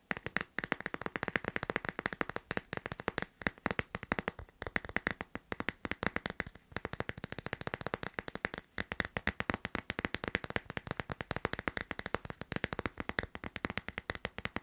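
Fingertips and nails tap quickly on the back of a hand-sized hard plastic phone case with a teal tropical-leaf print, fitted on a solid phone. The sound is a steady stream of rapid, dry, clicky taps that stop almost instantly, with a bright tone centered near 1.8 kHz.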